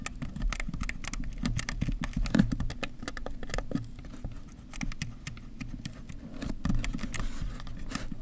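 Fingertips press and click the rear buttons and directional pad on the back of a black plastic Canon EOS 1000D camera body and tap its casing. A rapid, uneven stream of short, dry clicks and taps rides over a low, muffled thumping, with each click ending almost instantly.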